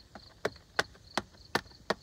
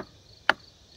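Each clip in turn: First: Five short, dull taps with no ring to them: a log that has gone hollow and soft with rot. Second: A single crisp, tight tap on a log wall with no ring, the dense sound of solid wood.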